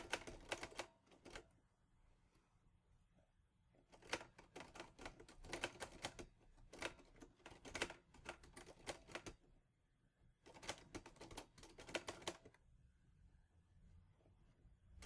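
Fingertips press individual keys on a mint-green Olivetti Lettera 22 portable manual typewriter with a metal body and paper loaded. Rapid runs of sharp, bright metallic clacks come in bursts of typing. Short pauses between them leave only a faint low background hum.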